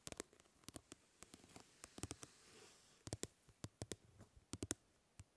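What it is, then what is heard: Plastic mesh fly swatter. Fingernails scratch and flick the mesh of a plastic grid-mesh fly swatter, producing about 22 short, dry, bright clicks with almost no ring. A soft scraping hiss runs between the flicks, swelling briefly near the middle of the quiet clip.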